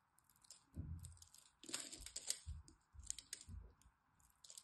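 A blade pries and scrapes small cubes off a solid green bar of soap that has been cut into a grid. It makes a run of crisp, crunchy crackles with bright, high clicks over soft low thuds. A faint steady hum sits underneath.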